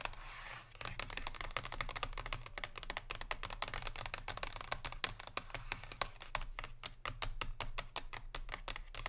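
Long pink nails tap rapidly along the bottom edge and surface of a Lindt chocolate bar in a thin cardboard box lying flat on a table. The result is a steady stream of short, dry, bright clicks like typing on a keyboard, with a soft scratch at the start and a constant low hum underneath.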